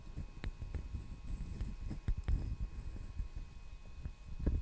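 The solid back of a hand-sized brown wooden hairbrush, held near the mic, is tapped with fingertips and nails. The result is a quiet, uneven string of soft, dull, low thuds that die away almost instantly, with a few sharper clicks mixed in.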